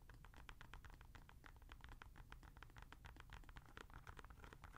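Long nails scratch along the side and white foam Boost midsole of a grey Adidas NMD R1 sneaker with a knit/mesh upper, held empty and hollow in the hand. The result is a fast, steady run of short, dry scratching ticks over a low, soft rumble.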